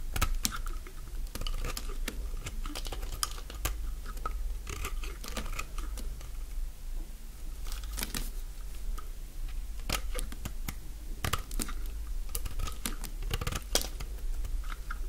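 A utility-knife blade slices and scrapes thin strips from a partly carved, solid green dry soap bar held in the hands. The cuts make rapid, crisp crunching and scratching clicks with bright, dry edges over a steady low rumble. Each stroke is short and quick to fade.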